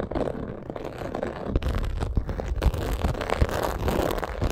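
Long acrylic nails scratch and tap on a medium-size black textured faux crocodile leather purse. A steady, muffled, low-heavy scraping runs throughout, broken by quick, dull taps that stand out a little louder.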